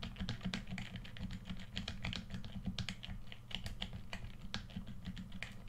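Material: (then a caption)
Plastic. Fingertips rapidly click the buttons and sticks of a hollow red plastic PS4 controller held in both hands. The result is a dense stream of short, sharp, bright clicks and taps over a steady low hum.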